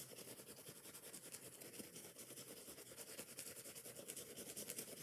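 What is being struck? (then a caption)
Foam kitchen sponge with scouring pad. Long nails scratch and rub the scouring pad and foam edges of a yellow and green foam kitchen sponge gripped in the hand. The result is a quiet, fast, continuous scratchy rasping with a bright, hissy top end and little low-end body.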